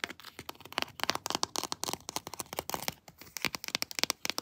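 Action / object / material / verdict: tap / hard plastic action figure with textured armor / hard plastic / none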